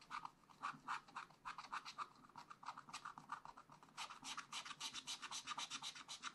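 A wooden stylus scratches dense hatching near the bottom of a black coated scratch art sheet in a small spiral pad. It makes a rapid, uneven series of short, dry scratching strokes with a gritty tone around 1.3 kHz and bright hiss above. The strokes grow brighter and more intense in the last couple of seconds.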